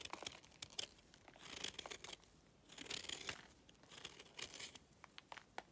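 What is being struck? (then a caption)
Clay chunk scraped with a knife blade. A utility knife blade is scraped across the edge of a solid, pale, dry clay piece, shaving off powdery flakes. The sound is a quiet, dry, bright scraping and crackling, coming in irregular bursts of short crunchy strokes.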